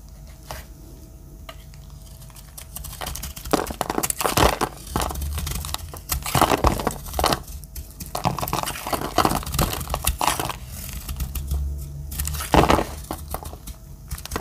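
A metal utility-knife blade shaves and cuts into a dry, solid, palm-sized green Dettol bar soap held in one hand, sending curls and chips falling off. Crisp scraping and crunching strokes come in repeated bursts, some louder and brighter, over a steady low hum.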